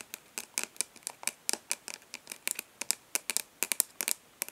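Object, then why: Plastic eyeshadow palette lid. Long nails on both hands tap and scratch the embossed front lid of a rectangular, hollow plastic eyeshadow palette held upright. About 23 quick, dry, bright clicks come in an uneven, fast but gentle rhythm, with faint scratchy rustles between them. There is almost no low end and no ringing after each tap.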